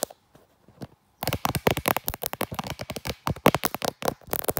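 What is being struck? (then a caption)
Smartphone in a leather case. Long black nails tap and scratch the back of a hand-sized smartphone in a brown leather-look case with a black pop grip, working around the camera lens. After about a second of faint ticks, a fast run of about 24 sharp, dry clicks and scratches follows, each dying away almost instantly.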